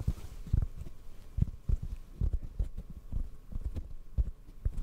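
Fingertips tap a hollow black foam microphone windscreen held in the other hand. The taps make an irregular series of soft, muffled low thumps with almost no high content, each dying away at once.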